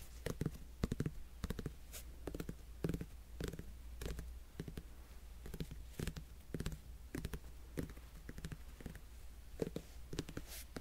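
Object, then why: Whole netted melon rind. A whole, solid netted melon has its rind scratched and tapped with fingernails close to the mic. Sharp, dry clicks and scratches repeat in irregular clusters over a steady low hum. Each tap dies away almost instantly.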